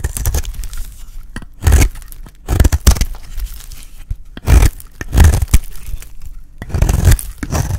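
A solid, dry, cream-white bar of soap held in the hand is shaved with a metal utility blade. Each stroke makes a dry, crumbly scraping and cutting sound, with a bright crackle over a low, muffled thump. The strokes come in several uneven bursts with quieter gaps between them.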